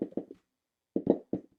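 An arrow with its points glued in with hot melt is dropped to check for rattle, giving two short bursts of low, dull bounces, each with a few quick diminishing taps. No rattle is heard, so the components are firmly bonded and not loose.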